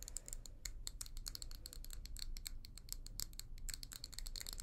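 Long nails tap and scratch quickly on the outer wall of a small hollow amber glass tumbler with a leopard-print pattern, held in both hands. A fast, steady stream of short, bright clicks and dry scratches sits over a low, constant rumble.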